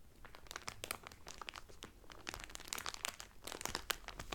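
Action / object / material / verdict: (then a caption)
scrape / cellophane-wrapped cotton towel / cellophane / none. Both hands press and slide their fingertips and nails over the clear cellophane wrapper on a folded Carnival Cruise cotton towel. The result is quiet, continuous, bright crinkling and crackling with quick sharp snaps, growing a little denser and louder toward the end.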